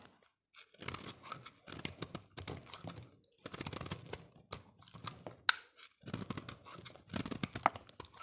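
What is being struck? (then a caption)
Bar of soap. A utility-knife blade scrapes and shaves the face of a solid, rounded green soap bar held in the hand. Dry, crunchy, bright scraping strokes come in bursts separated by short pauses.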